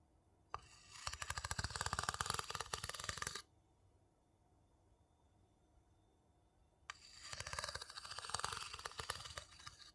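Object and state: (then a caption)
Wooden bowl tapped and scratched. A small, hollow, empty light-wood bowl held in the palm is tapped and scratched around its inside rim and surface with a wooden spoon. It makes quick, dense, dry clicking and rasping in two bursts, from about 0.5 to 3.4 seconds and again from about 7 seconds to the end. The sound is bright and woody, with a short, dead ring, and a near-silent pause falls between the bursts.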